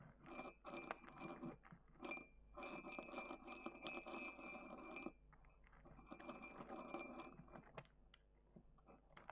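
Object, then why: Small ceramic mug scraped with a wooden stick. A thin wooden stick scratches the inner wall of a small dark grey matte ceramic mug with a handle, held on a table. Bursts of dry, gritty scraping come and go in uneven strokes, carrying a faint steady ring from the mug that lingers through the louder passages. Brief quiet gaps separate the scratching runs.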